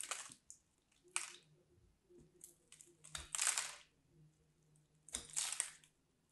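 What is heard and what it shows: A small craft knife cuts into the edge of a solid, dry pink bar of soap, breaking it into crumbly chunks. Several short, bright, crunchy scraping bursts stand out against near silence, with faint crackles of crumbling between them.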